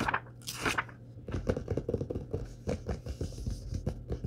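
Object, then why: Paperback book paper pages. Fingertips and palms rub and tap the printed paper pages of a large, thick Star Wars short-story paperback lying open on a wooden table, then turn the pages. A bright papery swish is followed by a run of soft, dull, quick-decaying taps and light rustling, mostly low in tone.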